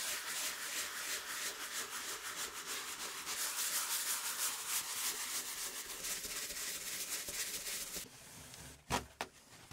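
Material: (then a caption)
Wood. A gloved hand scrubs the flat, solid wooden base board of a 1908 typewriter, wet in patches, with a round brush, making a steady, bright, rough rasping in quick back-and-forth strokes for about eight seconds. The scrubbing then stops, leaving a quieter stretch broken by a few short, sharp knocks near the end.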